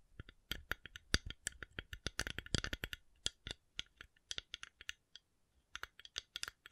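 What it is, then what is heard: Coconut shell being tapped. A coconut shell is tapped in a quick, irregular series of short, dry clicks with bright high end and almost no ring. The tapping pauses briefly near the end, then resumes.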